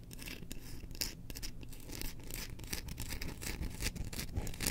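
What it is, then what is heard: Bamboo slotted spoon handle being scratched. Long nails scratch the handle of a solid, engraved bamboo slotted spoon that is held up. The result is a steady run of dry, rasping scratches with quick bright bursts over a low, constant hum.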